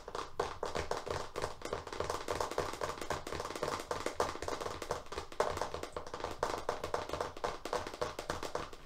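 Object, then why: Paper masking tape roll on a cardboard core, in plastic wrap. A wrapped FrogTape roll of paper masking tape on a hollow cardboard core is held upright in both hands and fast-tapped with long fingernails on its plastic-covered face. A steady, rapid stream of quick, dry clicks continues throughout, centered in the midrange with a faint low rumble beneath and little bright top. Each tap dies away almost at once.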